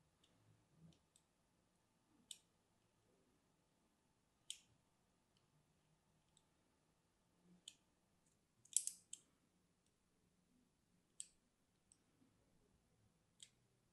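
A small solid bar of soap with pink and white stripes, held in one hand, is scratched and carved in lines with a thin metal needle tool while other soap bars sit untouched nearby. About eight short, bright clicks and scrapes come at irregular intervals against a quiet background, each dying away almost instantly.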